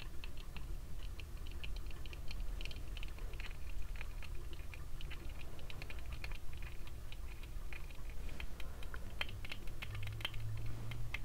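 Fingertips tap rapidly on the frame and lenses of small red plastic-frame sunglasses with brown lenses while they are worn on the face. The result is a steady stream of light, dry, clicking taps with bright edges that die away almost instantly, over a low constant hum.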